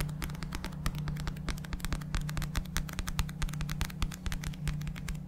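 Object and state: Paperback book.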